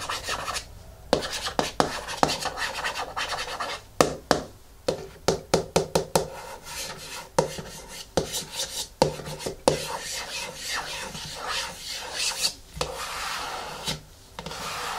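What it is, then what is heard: Plastic jar lid scratched and rubbed with nails. Fingernails scratch and rub the top of the lid on a medium yellow plastic hair mask jar resting on a wooden table. A continuous dry, bright scratching rasp is broken up by repeated sharp, short taps with a hollow plastic tone around 500 Hz.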